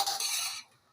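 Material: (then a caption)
Toasted bread. Garlic croutons are stirred and scraped in a pan with a utensil, giving two bright, crunchy scraping bursts that rattle for about half a second before fading out. The crisp sound shows the croutons have become toasted and dry.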